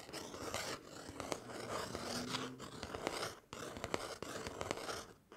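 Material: Cardboard.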